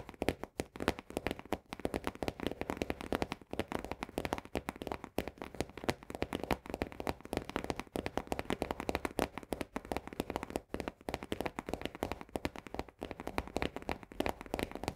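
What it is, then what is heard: Paperboard canister. Long nails tap rapidly on the paperboard base and lower wall of an upside-down Orzo Bimbo barley canister. The result is a dense, continuous stream of dry, hollow clicks that stop almost instantly, with most of the sound in the low-mid range.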